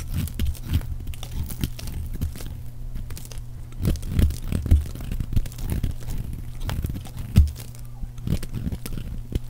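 A metal blade carves and scrapes curled shavings off a solid, rounded bar of teal dry soap held in the hand, with crumbly chips falling away. Soft, dense, crunchy scraping strokes repeat throughout, with a steady low hum underneath.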